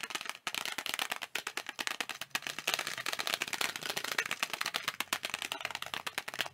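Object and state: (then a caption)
Plastic video game case. Fingertips tap fast on a thin, hollow blue plastic video game case with a printed cover, held up in both hands. A steady stream of bright, dry, clicky taps sits mostly in the upper frequencies, with almost no low end. Each tap dies away almost instantly.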